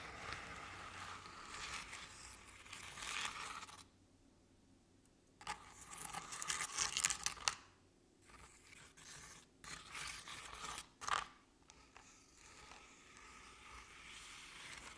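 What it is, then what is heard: Crepe-paper covered decorative pumpkin. Long nails scratch the crinkled crepe paper covering the sides of a decorative pumpkin. The sound is dry, bright, papery scratching and crinkling in uneven bursts, broken by brief quiet pauses.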